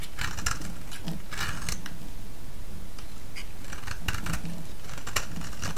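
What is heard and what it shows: A palm-sized solid yellow bar of soap, held in the hand, is shaved with a utility-knife blade. Repeated crisp, bright scraping and cutting strokes come in short bursts over a steady low rumble, and the level stays even throughout.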